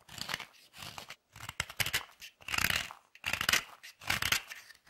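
A metal tool scrapes and grates shavings off a small, solid piece of old white chocolate held in the hand. Short, bright, raspy scraping bursts repeat in an uneven rhythm, each one a gritty hiss concentrated in the high frequencies with brief pauses between strokes.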